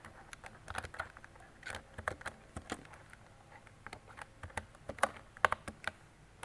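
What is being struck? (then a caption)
Plastic mechanical keyboard. Fingertips with long decorated nails type on a mint-green retro mechanical keyboard with round plastic keycaps and a hollow body. About 20 short, dry plastic clacks land at an irregular pace, each with a bright click and a hollow midrange knock around 1.1 kHz. The taps die away almost instantly.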